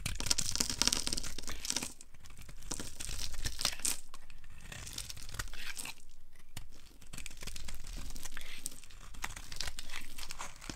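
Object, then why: Bar of soap. A metal blade carves crumbly shavings from a solid, dry orange soap bar held in the hand. It makes a steady, irregular run of dry scraping, tearing and crunching with a bright, crisp hiss over a soft low rumble.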